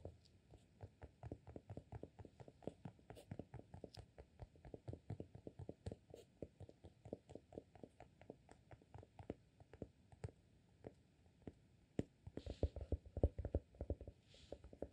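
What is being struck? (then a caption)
Glass candle jar with cork lid. Fingertips tap and scratch the cork lid of a small amber glass candle jar full of wax, making a quiet, rapid run of soft, dull, low taps with a faint scratchy texture. The taps fall at an uneven pace and grow somewhat louder near the end.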